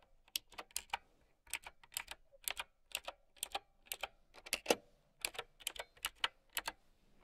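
Fast typing with long painted nails and fingertips on a mint typewriter-style mechanical keyboard with round white plastic keycaps. About 26 crisp, bright, clacky keystrokes are heard in quick clusters, each dry and short with almost no low end.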